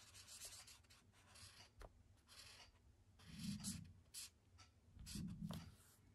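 A thick yellow felt-tip marker rubs colour onto a white paper sketchbook page resting on a wooden desk. Short, bright, scratchy strokes of the tip on the paper come in irregular bursts, with a few louder, fuller swipes and soft low thuds underneath.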